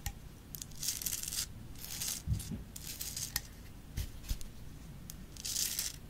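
Long nails tap and scratch the surface of a Himalayan rock-salt lamp, a solid rough crystal held upright and then laid sideways. Bright, hissing scratch bursts alternate with sharp, brief taps, some carrying a dull low thump.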